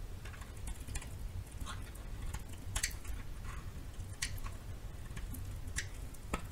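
A metal knife cuts and shaves small chunks off a narrow piece of solid yellow bar soap. The cuts come as a series of short, dry, crisp ticks and scrapes with a bright edge, over a low, steady rumble.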